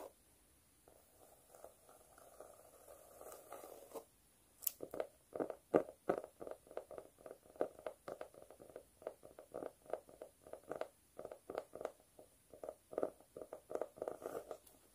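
Long pointed nails scratch across a speckled cork notebook cover, making a soft, steady hollow rustle for the first few seconds. Then the nails switch to quick, uneven taps, each a short dull click that stops almost instantly, continuing to the end.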